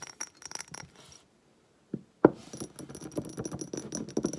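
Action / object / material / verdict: tap / textured glass diffuser bottle / glass / none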